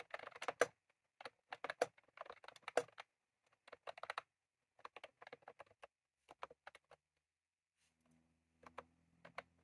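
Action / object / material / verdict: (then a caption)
tap / plastic mechanical keyboard with round keycaps / plastic / none. Both hands type rapidly with their fingertips on a full-size retro-style plastic mechanical keyboard, which has round cream plastic keycaps and a plastic case and sits on a desk. Quick bursts of crisp, clicky keystrokes come with short pauses between them. Near the end, a faint low hum sits under the final taps.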